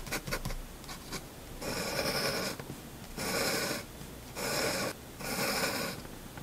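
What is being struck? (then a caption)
Paper sheet under a steel pen nib. A steel fountain pen nib scratches across a single flat sheet of white drawing paper during ink line drawing, with a hand steadying the paper. A few short, quick ticks open the clip, followed by four longer, bright, raspy scratching strokes separated by brief quieter pauses.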